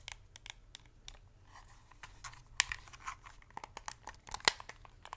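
Long acrylic nails tap, scratch and click the buttons and hollow shell of a white hand-held plastic PS5-style game controller held close to the mic. The result is an irregular series of sharp, bright clicks and dry scratchy crinkles that stop instantly, with faint low rumble between them.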